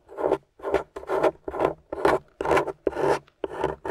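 A small metal spatula with a wooden handle scrapes and digs into a grey solid plaster dig-kit block, which is steadied by fingers with long nails. The result is repeated dry, raspy scraping strokes, about two per second, each a short gritty burst centered in the midrange with brief silences between.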